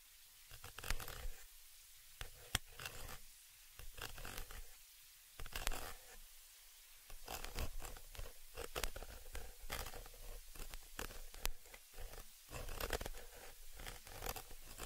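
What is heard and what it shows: A thin dark stick scratches and pokes the round metal mesh grille on the upper capsule of a stereo microphone with hollow capsules. The result is dry, crackly scraping in uneven bursts, with sharp ticks and taps over a low, boomy thump. Brief quiet gaps fall between the bursts.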